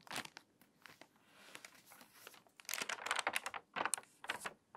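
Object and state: Water-damaged paper magazine, crinkly pages.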